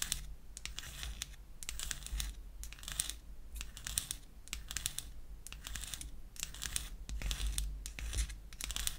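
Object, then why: Small wooden lipstick cylinder scratched with nails. Long acrylic nails scratch the surface of a small, light wood lipstick cylinder with a cap seam, held in the hand. Repeated bursts of dry, bright, papery scratching rise and fall with no ring, over a steady faint low rumble.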